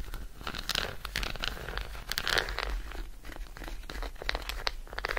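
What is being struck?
Solid chocolate bar tapped and scratched with fingernails.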